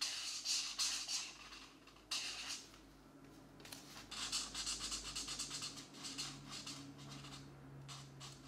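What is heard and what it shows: A purple felt-tip marker rubs back and forth across the paper page of an open paperback coloring book lying on a desk mat, while the other hand holds the book flat. The result is a bright, hissy scratching that comes in quick bursts of strokes, with a brief quieter stretch in the middle.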